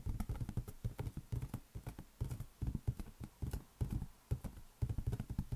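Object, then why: Inflated latex balloon. A large, hollow, inflated green latex balloon rests on an open palm and is tapped quickly with the fingertips and nails. The taps come in rapid, irregular bursts separated by short pauses, each one a dull, low, hollow thump with a faint bright click from the nails and almost no ring.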